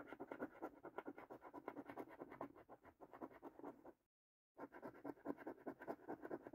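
A coin scratches the latex coating off a thin cardboard paper scratch card held in the hand. Quick, rapid rasping strokes run continuously, with mid-range scratchy texture. There is a brief silent pause near the four-second mark before the scratching resumes.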